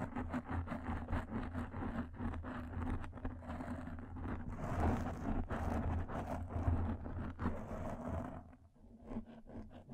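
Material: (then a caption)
Foam. A black foam microphone windscreen is scratched and rubbed with long nails and fingertips, giving a close, dense scratching and rustling with a heavy low rumble. The rubbing continues steadily throughout, briefly thinning out and going quieter near the end.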